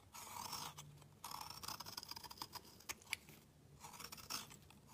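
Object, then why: Black soap bar scraped with a metal blade. A metal utility knife blade scrapes across a solid, round black bar of soap, shaving off fine curls. The scraping comes as bright, hissy strokes in bursts with short pauses, plus a couple of sharp ticks midway.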